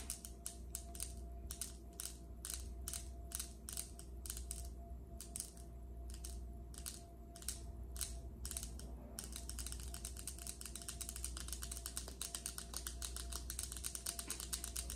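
Long acrylic nails on both hands tap and scratch a large, solid, polished granite countertop. Sharp, bright clicks come at a slow, uneven pace for about nine seconds, then speed up into rapid, dense tapping. A steady low hum and a faint tone run underneath throughout.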